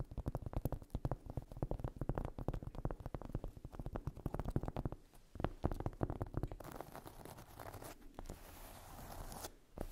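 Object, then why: Cork coaster. Long acrylic nails rapidly tap and scratch the surface of a solid, round, flat cork trivet or coaster resting on fluffy fabric. A dense stream of soft, low, dull clicks and scrapes fills the first half, then the taps thin out into a few isolated knocks. Near the end a quieter, brighter, continuous scratching rasp takes over.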